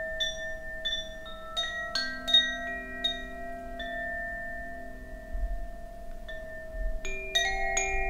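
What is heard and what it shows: A hollow bamboo tube Koshi wind chime is held by its cord between the fingers and swung by hand so the rods ring. Bright, bell-like strikes sound in a loose, irregular string, their sustained tones lingering and overlapping into a soft shimmering hum. The chime tapers to a quiet stretch before a final cluster of strikes near the end.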